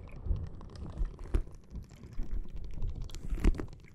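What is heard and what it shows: Long nails tap, press and scratch a clear plastic bag full of red gel water beads. It makes soft, low, squishy thuds and short dry crackles, with a few sharper taps standing out above a steady muffled rustle.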